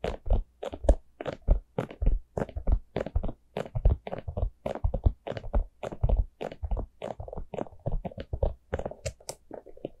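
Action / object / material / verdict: tap / small hollow plastic pumpkin cup / plastic / none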